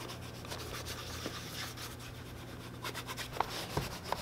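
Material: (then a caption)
Leather. A hand rubs a cloth over the upper of a tan leather boot, which sounds hollow. The result is a soft, continuous brushing hiss over a faint low hum, broken by four sharper, brief squeaky ticks, mostly near the end.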